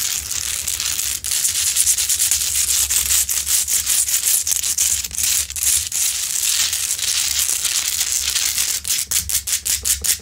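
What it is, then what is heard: Himalayan salt lamp scratched with nails. Long pointed nails scratch the rough crystalline top of a large, solid rock-salt Himalayan salt lamp, close up. The result is a dense, bright, hissing scrape made of rapid, crisp strokes with almost no low end, over a faint low hum.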